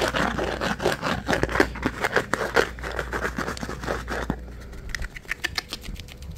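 Fingernails scratch and tap the flat top of a hand-sized, pink plastic rectangular container lid held in one hand. For about four seconds, dense, rapid scratching fills the mids. It then thins to quieter, sparse, bright taps over a steady low hum.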